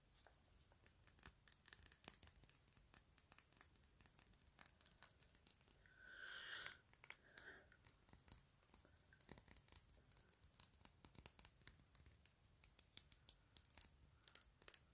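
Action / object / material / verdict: tap / small glass perfume bottle with metal cap / glass / none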